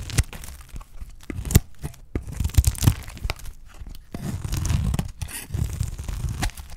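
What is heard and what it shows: A utility knife blade scrapes and slices thin layers off the face of a solid, dry green olive soap bar held in the fingers. The result is a series of short, dry tearing and crunching strokes with a low, muffled body and brief high, crisp edges, interspersed with quieter stretches of crumbly scraping.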